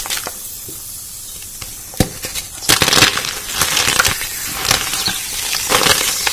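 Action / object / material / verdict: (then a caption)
scrape / block of chalk / chalk / none. A large, solid, dry white chalk block, likely gym or magnesium chalk, is held over a blue bowl of chalk powder and squeezed, crushed and broken apart by bare hands with red-painted fingernails, the fingertips digging in to crumble it. A quiet, faintly hissing start gives way to a sharp snap, then dense, irregular dry crunching and gritty crackles, bright and short with no ring. The block crumbles into pieces and powder.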